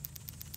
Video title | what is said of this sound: Engine Burning Oil? Replace your PCV Valve for Honda/Acura | that's what you want to hear if you don't hear that at all that means that valve is stuck